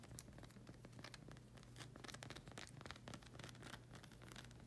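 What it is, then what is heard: Rubber sandal sole, scratched and tapped. Long red acrylic nails scratch and tap the solid black rubber sole of a slide sandal with a hexagon tread. Quiet, dense crackling scratches and quick bright ticks run continuously over a steady low hum.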